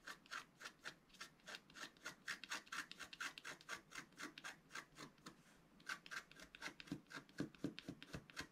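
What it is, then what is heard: Scratch-art paper being scratched. A wooden stylus rubs and scratches the wax coating of a flat scratch-art paper sheet, about A4, in repeated strokes. Quick, raspy scratching bursts with a bright edge repeat at a steady but uneven pace, with a brief quieter pause in the middle.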